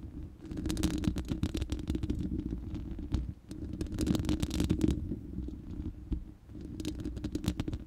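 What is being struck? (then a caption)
Steel mesh microphone grille. Long nails scratch the bare, hollow round steel mesh grille of a studio microphone. The sound is a dense, rumbling scrape of rapid ticks over a low hum centred near 305 Hz, with brief bright crackles, and it eases briefly around 3.3 and 6.4 seconds before resuming.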